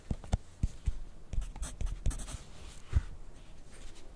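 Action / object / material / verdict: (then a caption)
scrape / graphite pencil on a paper sheet over a clipboard / paper / none. A yellow wooden graphite pencil writes on a thin grid paper sheet clipped to a white clipboard that is held steady with the other hand. The pencil tip makes quiet, dry scratching strokes with soft low taps as it meets the paper, in an irregular writing rhythm with brief pauses between strokes.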